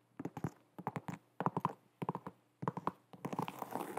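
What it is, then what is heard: Leather sneaker tapped with fingernails. Long nails tap the leather upper of an empty light blue and white leather low-top sneaker with a rubber sole, held sideways in both hands. The taps land in quick clusters of short, dull, hollow knocks separated by brief pauses, and over the last second they blur into a denser, continuous scratchy tapping.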